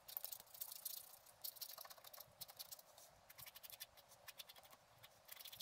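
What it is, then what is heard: Scratch art paper being scratched. A wooden stylus scratches the coating of a flat, black-coated scratch art card resting on a table. Quiet, bright, dry scratching strokes come in quick, uneven bursts, mostly high with almost no low end. Each stroke stops short with no ring.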